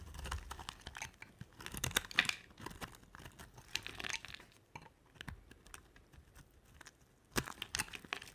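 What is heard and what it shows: An oval, solid pink bar of dry soap, held in a hand with long nails, is shaved into curls with a box-cutter blade. Quiet, dry, crisp scraping and crackling bursts come with each cut, bright and short with no ring. The sound has brief pauses between strokes and a louder flurry near the end.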